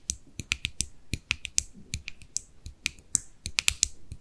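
Long nails tap the lid edge and top of a small, white, hollow, closed plastic cosmetic jar. About eighteen quick, bright, dry clicks sound in an irregular rhythm, each cut off almost at once with no ring.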